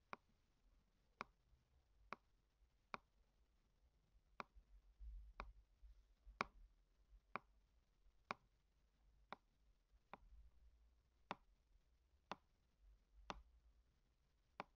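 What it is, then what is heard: Hardcover book tapped. A hand taps and scratches the glossy front cover of a large, closed hardcover Harry Potter book with a printed paper-covered board cover, lying on a white table, using a small red tool. Fifteen sharp, dry ticks sound at fairly even intervals, with soft scratching between some of them. The ticks ring briefly and have a bright edge over a quiet low hum.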